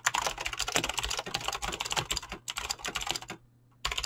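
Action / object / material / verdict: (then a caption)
tap / mechanical keyboard with plastic keycaps / plastic / none. Fingertips fast-type on a mechanical keyboard with clicky green switches and PBT plastic keycaps, producing a dense, bright stream of sharp clicks. Just before the end there is a brief pause before the typing resumes.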